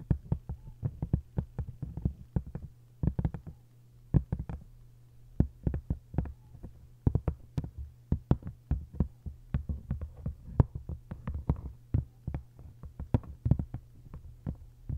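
Long acrylic nails tap and scratch the textured paper dust jacket of an open hardcover book lying face-down with its spine up. Rapid, irregular clusters of short, dull taps land in quick bursts, with little brightness, mostly low and thumpy. A faint steady low hum sits underneath throughout.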